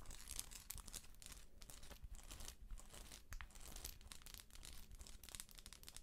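Long acrylic nails tap and scratch the textured shell of a hollow, round, head-sized plastic moon lamp with a galaxy print, held in both hands. The result is a dense, continuous run of quick, dry, crinkly scratches and clicks with bright, hissy edges and no ring after each touch.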